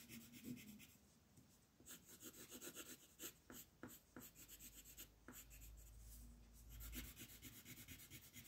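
A green wooden colored pencil rubs a thin paper coloring page lying flat on a table, shading in repeated back-and-forth strokes while the other hand holds the page still. The strokes come as a quick run of soft, dry, scratchy rasps with a bright papery hiss, over a faint low rumble in the background.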